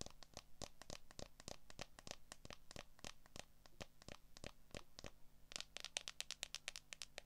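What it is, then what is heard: Smartphone in clear plastic case. Long acrylic nails tap and scratch the back and edges of a handheld smartphone in a solid, transparent plastic case. About forty short, dry, bright clicks are heard over a faint steady low hum, each with almost no ring. The taps speed up into a denser, brighter flurry near the end.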